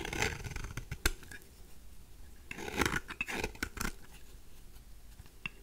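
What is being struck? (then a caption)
Bar of soap scraped with a knife. A knife blade scrapes shavings off the surfaces of a mauve, solid, rectangular bar of dry soap held in the hand. Dry, bright rasping strokes come in bursts, punctuated by sharp crisp snaps as pieces break away, over a low background rumble.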